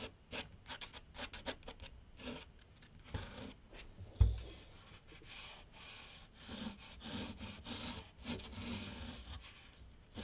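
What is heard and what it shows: A graphite pencil draws and scratches lines on a large flat sheet of white paper on a board on an easel. It makes a quick series of soft, dry scratching strokes with brighter hiss, and a single louder low thump just after four seconds. The sound then settles into steadier, quieter rubbing strokes.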